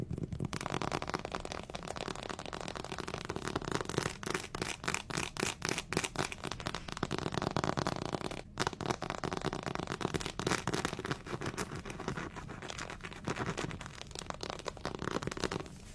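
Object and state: Plastic anatomy figure being scratched.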